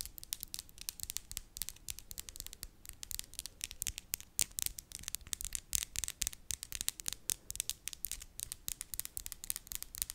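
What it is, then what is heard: Acrylic nails tapped together. Long clear-and-glitter acrylic press-on nails on both hands are tapped and clicked against each other, tip to tip, in front of a microphone. A fast, uneven stream of sharp, bright clicks rattles on for about ten seconds, each one dry and very short with almost no ring. There is only a faint low rumble beneath the clicks.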